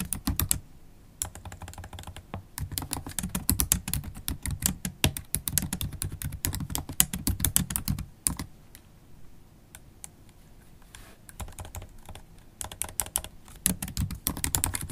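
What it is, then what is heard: Laptop keyboard with plastic keys. Long holographic acrylic nails tap the black plastic keys of a MacBook Pro laptop keyboard while typing. Quick, dry clicks with a low thud and bright tick come in dense bursts, fading to softer, sparse taps midway before picking up again.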